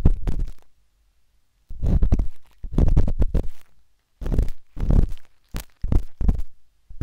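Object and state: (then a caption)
Silicone microphone ear scratched with dot stick. The metal tip of a wooden-handled dot stick scratches inside the ear canal of a pale pink, soft, solid silicone ear on a binaural microphone. Deep, muffled rumbling scrapes come in irregular bursts separated by short silences.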